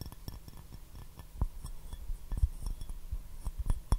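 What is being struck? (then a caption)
Porcelain teacup. A hollow, empty white porcelain teacup with a rose pattern and gold rim is held upside down and tapped with fingertips and nails. The irregular series of short, dull taps has low thudding weight and faint bright clicks, and each tap dies away almost instantly with no lasting ring.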